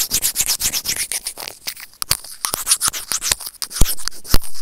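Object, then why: Small plastic earphone inline microphone remote. Serrated plastic tweezers scrape rapidly over a small, hollow white plastic earphone inline microphone remote, producing a dense run of bright, crackly scratching strokes. Near the end, a couple of sharper, louder clicks stand out from the steady rasping.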